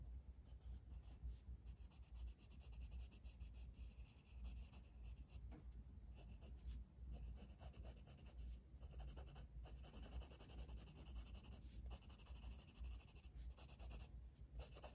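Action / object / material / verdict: scrape / wooden colored pencil on a paper coloring page / paper / none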